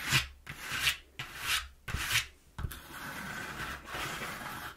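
A hand rubs across the panel of a flattened brown corrugated cardboard box in four separate bright, rasping strokes, followed by steady scratching from long nails. The texture is dry and papery, mostly high, with soft thumps at the start of each stroke.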